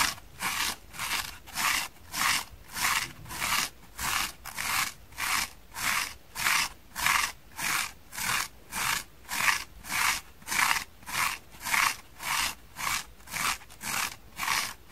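A small, dry, green porous foam kitchen sponge is held in both hands and scratched on its foam side with long painted fingernails. Steady, evenly spaced rasping strokes repeat at about 100 per minute, each a short, dry, bright scratch centered near 2 kHz with almost no low end and very little ring.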